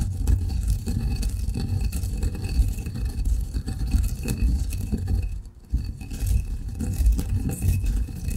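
A granite pestle grinds fine coffee grounds in a granite mortar, making a steady, low, gritty scraping rumble. The grinding continues almost without a break, with a brief quiet pause around five and a half seconds before it resumes.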